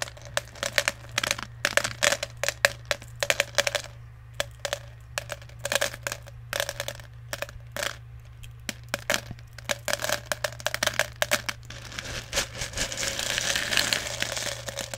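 Fingers dig into and stir small plastic airsoft BBs in a clear plastic jar that is partly full. The result is a dense run of quick, bright clicks and rattles over a faint steady low hum. It builds into a thicker, hissing pour-like clatter in the last few seconds.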